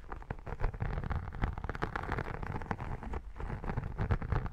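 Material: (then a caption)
Vinyl. Long nails and fingertips scratch the embossed, iridescent textured vinyl cover and spine of a photo album held close. The result is a dense, continuous run of rough, low-heavy scratching and rubbing with quick, irregular bursts and very little high brightness.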